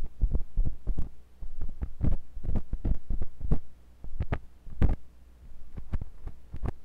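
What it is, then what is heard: Silicone microphone ear probed with metal tool. A thin metal pointed sculpting tool with a wooden handle, held by fingers with long pink nails, scratches and pokes inside the ear canal of a white silicone ear on a block-shaped binaural microphone. The result is a rapid series of deep, muffled thumps and pressure-like scrapes, dominated by low rumble with brief bright clicks and a steady low hum underneath.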